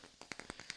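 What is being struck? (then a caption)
Wooden block. A block of wood is tapped six times in quick, even succession. Each tap is a short, dry, quiet click with a bright upper edge and almost no ring.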